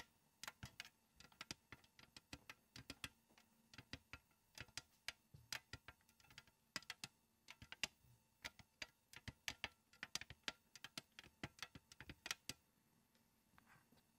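Long acrylic nails tap and scratch across the perforated steel surface of a flat stainless steel box cheese grater with a red plastic frame, lying on a wooden table beside an untouched bar of soap. Around fifty sharp, bright, clicky taps come in quick irregular bursts, each dying away almost instantly with little low end, over a faint steady background hum.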